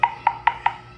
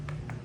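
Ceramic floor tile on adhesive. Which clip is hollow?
The first.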